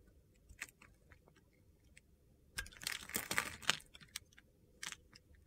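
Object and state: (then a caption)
Bar soap being carved. A metal box-cutter blade scrapes and slices a solid green bar of soap held in the palm, with the flakes piling up below. Sparse, crisp, bright scratches and clicks build into a denser burst of gritty crunching in the middle, then thin out again.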